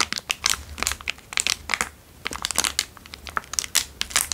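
A small, square, crumpled, empty clear plastic wrapper is crinkled between fingertips. It makes a dense run of sharp, bright crackles that come in quick bursts with short quieter gaps between them. Each snap dies away almost instantly, with almost no low end.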